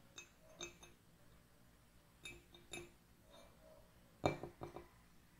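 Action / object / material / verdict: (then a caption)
tap / ceramic mug / ceramic / none. Long nails tap the outer wall of an empty, hollow white ceramic mug with gold lettering standing on a wooden table. Ten light, glassy clinks come in small clusters, each with a brief ring around 400 Hz and a faint bright edge. The clinks die away quickly into quiet between groups.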